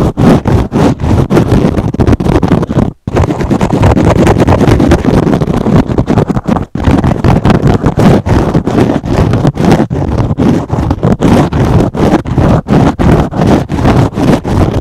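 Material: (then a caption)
Foam. A foam kitchen sponge with teal foam and a green scrub pad is scratched with fingernails in fast strokes. The result is a dense, loud, continuous run of rough scratching with a heavy low, rumbly body. Two brief silent gaps fall near 3 and 6.7 seconds.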